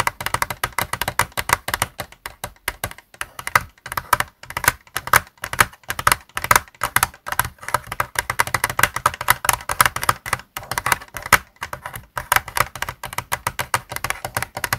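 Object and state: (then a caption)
Plastic game controller. Fingertips and nails tap quickly on the top shell and buttons of a white plastic Xbox controller lying on a desk. The result is a dense, continuous stream of short, dry, clicky taps with a bright, hollow plastic tone and almost no ring.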